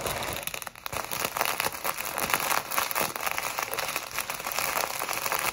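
A small clear plastic packet filled with tiny pink, purple and white foam beads is held in both hands and squeezed and rubbed with long white acrylic nails and fingertips. The result is a steady, bright crinkling and crackling with dense, tiny overlapping clicks and almost no low end.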